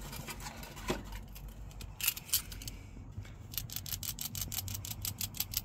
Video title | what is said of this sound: Positive Crankcase Ventilation(PCV) Valve:Time to Replace? | you're supposed to hear a sort of Rattle and that means that it's not stuck and gunked up on the inside